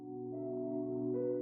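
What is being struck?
Nothing is struck.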